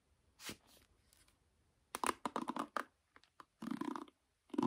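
Fingertips and nails strum and scratch across the black nylon pins of a bamboo or wooden paddle hairbrush held face up. The result is quiet, dry, crackly rasps in short bursts, with a faint first stroke followed by quicker clusters of brisk scratching that stop dead with no ring.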